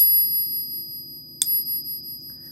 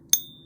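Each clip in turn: First: 90% silver coin, genuine, clear ring. Second: pure silver coin, genuine, high dead ring.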